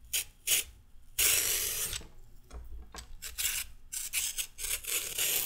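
A solid raw carrot is peeled with a red metal peeler in steady scraping strokes. Bright, raspy scrapes come in short bursts and one longer stroke, with quiet gaps between them.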